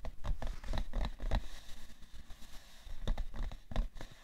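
Long manicured nails and fingertips tap and scratch the top of a hollow, rectangular printed cardboard tissue box with a plastic-film slot, likely filled with tissues. The result is a quick run of soft, dull, low thuds, mixed with brief scratchy rustles that flare brighter on the sharper strikes. Each tap dies away almost at once.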